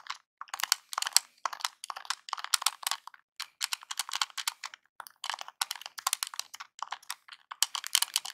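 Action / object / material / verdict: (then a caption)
tap / plastic game controller buttons / plastic / none. Fingertips press and tap the buttons and D-pad of a small, hollow NES-style plastic game controller held in the hands. Rapid, dry, bright plastic clicks come in clustered bursts with brief pauses, each click dying away almost instantly and with no low-end body.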